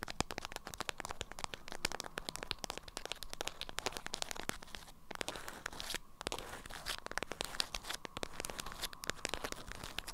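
Long acrylic nails scratch and crinkle a stiff, lemon-print beeswax-coated fabric wrap around a small item. Dense, bright crackling and crinkling continue throughout, with fast dry clicks and brief quieter gaps near the middle. Each sharp transient dies away almost instantly, with no ring.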